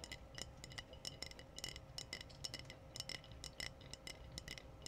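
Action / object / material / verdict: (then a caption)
tap / glass wine bottle / glass / none. Long painted nails tap the body of a clear, hollow glass wine bottle with a foil capsule. A quick, irregular run of light, bright clinks rings briefly at high pitch over a faint low background hum.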